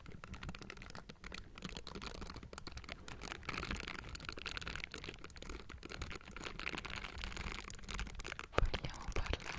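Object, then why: Metal mesh microphone grille. Both hands in pink silicone bristle gloves tap and scratch the hollow metal mesh grille of a Blue Yeti microphone. The result is a dense, close run of soft scratchy rustles and small taps with a low rumbling undertone. A few sharper taps stand out near the end.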